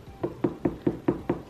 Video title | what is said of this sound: Day In My Life!! visiting a friend, meal prep, skin care & more! | knock on it and it sounds hollow, that means that it's a good watermelon